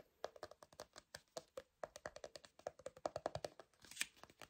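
A small, round, hollow cream-colored plastic cosmetic jar is tapped rapidly on its lid side with fingertips and nails. About 28 quick, dry taps each carry a short hollow tone near 600 Hz. A brighter, scratchier tap lands near the end, with some faint speech underneath.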